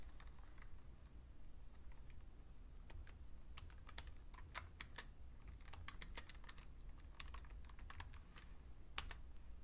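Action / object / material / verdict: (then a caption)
tap / plastic computer keyboard / plastic / none. Fingertips type on the keys of a vintage beige plastic full-size Fujitsu Siemens computer keyboard, producing quick, light, bright clicks at an irregular pace. A steady low rumble runs underneath throughout.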